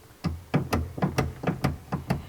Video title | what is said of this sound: J'ai pas de titre pour cette vidéo! Je resserre ma pédale et je te montre mon embrayage quoi... | Quand je tape dessus, en fait, elle bouge toute seule